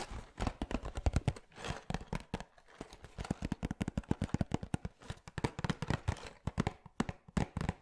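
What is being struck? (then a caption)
Small sealed cardboard box. Fingertips and nails tap and scratch a small, sealed, printed cardboard LEGO BrickHeadz Stormtrooper box, producing about forty quick, dull taps in uneven bursts. The hollow, low-heavy knocks stop dead with no ring, with soft scratchy rustles between the clusters.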